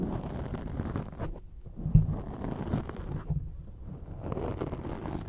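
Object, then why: Foam microphone windscreen. Long acrylic nails and nail tips scratch a black foam microphone windscreen. The result is a dense, muffled, low rustling and scraping, with a louder thump near the two-second mark. The texture thins briefly twice before swelling again.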